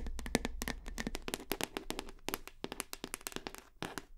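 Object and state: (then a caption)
Full plastic shower gel bottle. Long fingernails tap rapidly on the side and back label of a full plastic shower gel bottle held horizontally. The taps are quick, dry clicks with a brief hollow plastic tone and almost no ring, over a faint steady low hum.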